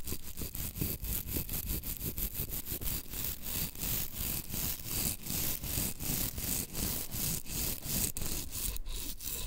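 Long green acrylic nails scratch and rub along the gritty surface of a thin, solid, flat blue-and-green emery board nail file held close. The result is a steady run of rough, dry scraping strokes that blend together, with a broad hiss reaching into high, bright frequencies.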